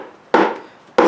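Two sharp, hollow-sounding knocks from a hammer tapping a stuck salvaged junk part resting on a small stand, its nuts and bolts already removed. Each knock rings briefly in the midrange before fading. The assembly sounds a little hollow, as if it wants to come apart, but it does not separate.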